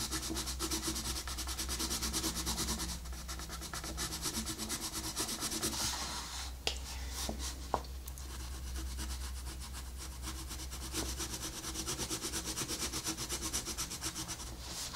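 A wooden colored pencil, held at a low angle, rubs back and forth across a flat paper coloring book page while shading. The result is a steady, bright, scratchy rasp over a constant low hum, broken by two sharp ticks near the middle.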